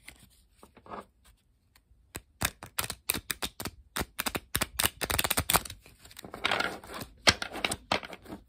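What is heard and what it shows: A deck of thin coated-paper playing cards is held above a wooden table while both hands split, riffle and square it with fingertips and long pink nails. The cards flick against each other in quick, bright, papery snaps and short fluttering riffles, with brief quiet gaps between bursts.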